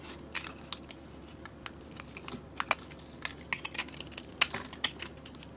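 A metal blade scrapes flakes off a solid purple, grid-scored bar of soap held in the hand. Quiet, bright, crisp scratching and crackling ticks come in many short irregular bursts, with almost no low end and no ringing.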